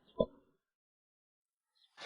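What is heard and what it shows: A large rock known as the "bell-striking stone," resting on only a few points with much empty space beneath, is struck with a smaller stone at another spot on its surface. Two strikes are heard: the first gives a bright, bell-like ping centered near 540 Hz with higher overtones that fades within about half a second, and the second is a sharper, brighter knock cut off at the end of the clip. The hollow space under the rock makes it ring clearly like a bell.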